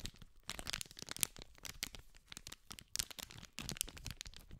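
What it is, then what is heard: Cellophane-wrapped cardboard pack being crinkled. A small green cardboard candy pack wrapped in clear cellophane is held in both hands while fingertips scratch and crinkle the plastic film. The result is a quiet, dense stream of bright, crisp crinkles and sharp little crackles and snaps, with almost no ring after each one.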